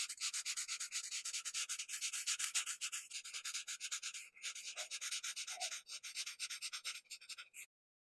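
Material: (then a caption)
Paper. A felt-tip marker rubs and scribbles quickly across a flat white paper sheet, filling a printed circular leaf outline with green. Rapid back-and-forth strokes make a dry, bright, scratchy hiss with almost no low end, steady throughout before stopping abruptly near the end.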